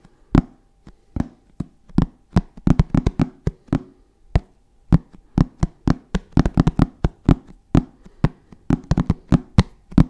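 A hollow black hard-shell zip case covered in fabric is tapped with the fingertips in an irregular, sometimes rapid rhythm. Each tap is a short, dull, low thud that stops almost at once with no ringing, and some taps fall in quick clusters.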